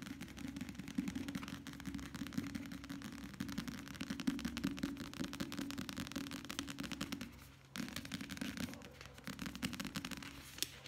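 Fingertips tap rapidly on the paper cover of a light-blue paperback book held in the hands. The result is a fast, dense stream of light, papery taps with a steady low tone underneath. The tapping softens for a moment around seven and a half seconds, then picks back up.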